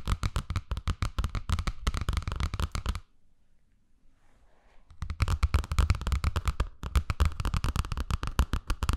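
Long painted nails and fingertips rapidly tap and scratch the glossy cardboard cover of a teal hardcover picture book with paper pages, held close to binaural mics, with the pages flipped at times. Dense, uneven, dull tapping with a heavy low thump runs for about three seconds, drops to a faint rustle for about two seconds, then resumes just as busily until the end.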